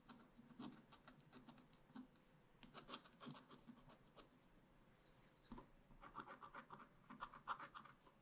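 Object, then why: Wax-coated scratch-art paper scraped with a wooden stylus. A wooden stylus scratches fine lines into a black wax-coated scratch-art paper page in a spiral-bound pad, etching a raccoon picture. Quiet, dry, bright scratching comes in short, irregular strokes, pauses briefly near the middle, then returns in quicker, denser bursts toward the end.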